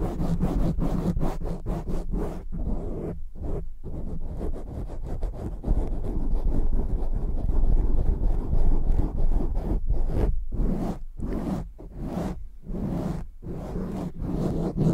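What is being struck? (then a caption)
Foam microphone windscreen. Fingertips scratch fast across a black foam windscreen on a microphone while hands cup over it. The result is dense, muffled, low rumbling scratches in quick, uneven bursts, with brief breaks that let bright, airy rustle through between strokes.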